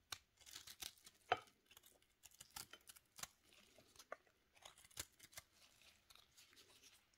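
A steel knife blade in a black-gloved hand scrapes and shaves a small, solid pink soap cube with a powdery surface. The result is a quick series of dry, crisp scratches with bright, papery hiss and very little low end. Each stroke cuts off sharply with almost no ring.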